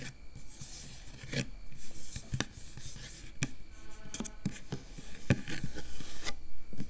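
Long acrylic nails on both hands scratch and rub across the round, hollow metal mesh grille on top of a microphone. Close, raspy scratching and rubbing comes in irregular bursts over a low rumble, with sharp bright ticks as the nails catch the mesh.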